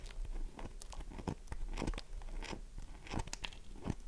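Long nails scratch across the scored face of a solid, oval, dry bar of soap held in the hands, making a series of short, dry crunching scrapes. The strokes are close and quick, with brief bright, crisp bursts over a low, soft rustle.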